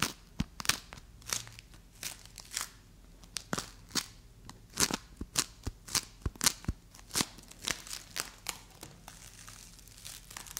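A fist-sized solid ball of bright green play foam made of tiny polystyrene beads is held in both hands and squeezed, pressed and scratched with long acrylic nails and fingertips. It gives a dry, crunchy crackle of many short, bright bursts over a quiet background.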